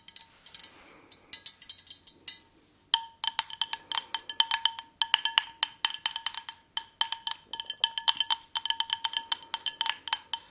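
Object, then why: Perforated metal candle holder. Long nails tap rapidly on a hollow, empty white metal candle holder with a perforated lace pattern. The taps make bright, ringing metallic clicks with a tone near 3 kHz. Each one decays almost instantly, and the taps come in quick bursts separated by brief pauses.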